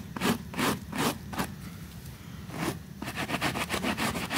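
A white stiff-bristled brush held in the fingers scrubs back and forth across a small, flat, butterfly-shaped pink woven rug soaked in soapy foam on a white surface. Slow, separate, bright scratchy strokes with a wet, foamy hiss give way after a brief pause to quicker, denser scrubbing.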